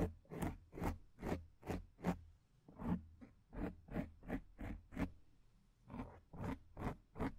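Long acrylic nails scratch and rub the surface of a black foam windscreen on a microphone. Fourteen soft, rasping strokes come in a loose, uneven rhythm, each a short burst of bright scratchy texture over a heavy low rumble. Between the strokes there are quiet gaps.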